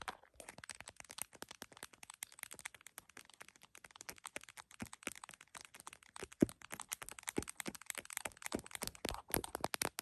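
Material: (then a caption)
Plastic. An iPhone in a printed plastic case, mounted on a tripod, is tapped with long nails on the case and then with fingertips around its edges. The result is a dense, quiet stream of rapid, sharp clicks with bright, dry transients that stop instantly. One louder tap lands near the middle.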